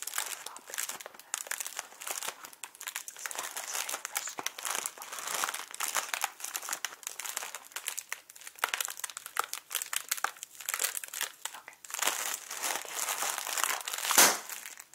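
A small inflated clear plastic air pillow packing cushion with blue printing, hollow and air-filled, is held in both hands and squeezed and crinkled with fingertips and short nails. Dense, bright crinkling fills the clip with quick, overlapping crackles. A sharper crunch stands out near the end.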